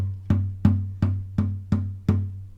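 Six evenly spaced taps on the soundboard of a wooden classical guitar produce a low, resonant tap tone near 98 Hz. Each tap gives a short percussive knock followed by a brief ring, and the pitch is read on an electronic tuner to estimate the body pitch. The tap tone reads a little below G.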